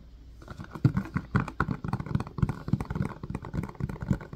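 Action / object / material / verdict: tap / silicone ice cube tray with plastic frame / silicone / none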